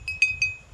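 A wind-driven bird scarer in an eggplant field chimes as an iron piece strikes glass bottles, keeping birds away from the eggplants. Three bright, clinking tings sound close together, each ringing briefly on a clear high pitch around 2.5 kHz. More wind brings more chiming.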